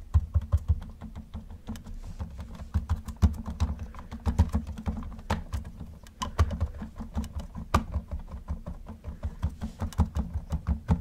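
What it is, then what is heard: Plastic toy car. Gloved fingertips tap rapidly on the roof of a hollow, yellow plastic Camaro model car. The result is a quick, steady patter of short, dull, low knocks that stop almost instantly, with no ring and little brightness.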